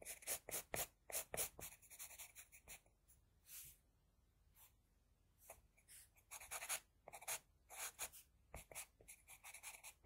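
The graphite tip of an HB wooden pencil, held in the fingers, scratches strokes across a flat sheet of drawing paper lying on a surface. Quick, bright, dry scratching strokes come in irregular bursts, falling to a quieter lull in the middle before the strokes pick up again.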